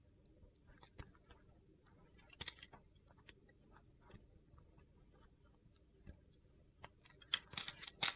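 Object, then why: Solid bar soap cut with a knife blade. A utility knife blade carves crumbly pieces off a white solid soap block with a yellow-blue glitter corner. Scattered crisp, bright crunches and scrapes sound at an irregular pace over a quiet background, growing louder and denser toward the end.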